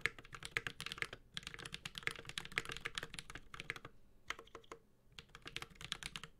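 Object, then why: Mechanical keyboard, aluminium case, plastic keycaps. A Space65 Cybervoyager 65% mechanical keyboard, with a white-gold aluminum case, plastic keycaps, a carbon fiber plate and tactile Holy Panda switches, is typed on steadily with the fingertips of both hands. The result is a quick run of bright, crisp clacks with short, dry decays and a light low thock beneath. A brief lull comes near the five-second mark before typing resumes.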